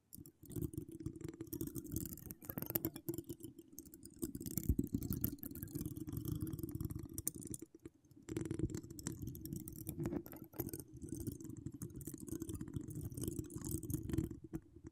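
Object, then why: Metal mesh microphone grille. A few long, decorated acrylic nail tips tap and scratch across a hollow metal mesh microphone head, making a dense, continuous, close crackling rasp. The sound is mostly low and muffled, with a brief near-silent pause around the 8-second mark before the scratching resumes.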